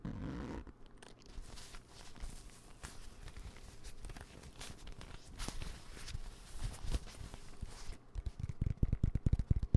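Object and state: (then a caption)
Nylon fabric pencil pouch. A dark green, hand-sized padded nylon pencil pouch with yellow zipper trim, soft and hollow, is held in one hand and tapped and scratched with fingertips and nails. Soft, muffled scratching and rustling builds into a run of quick, dull, low taps that grow louder toward the end.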